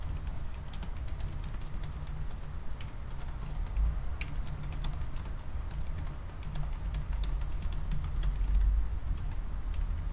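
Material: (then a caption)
Plastic. Both hands type fast with their fingertips on the black plastic keys of a silver aluminium laptop keyboard. A steady stream of short, sharp, bright key taps runs over a constant low hum. The taps stay quick and even throughout.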